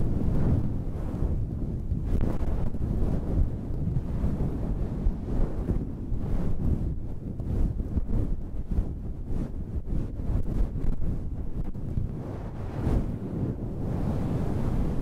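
Long red nails scratch a fluffy faux-fur windscreen on a handheld black recorder. The result is a steady, muffled, wind-like rumble, almost entirely low in pitch, with soft brushing swells and no bright edge.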